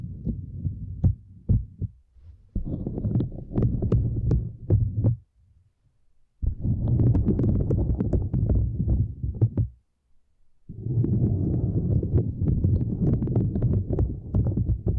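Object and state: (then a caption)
Silicone grid mat tapped and scratched with nails. Long acrylic nails tap and scratch across a small, flat purple silicone grid mat lying over two microphones. The result is dense, muffled, low thumping and rubbing with occasional sharper clicks, in three stretches separated by brief near-silent pauses.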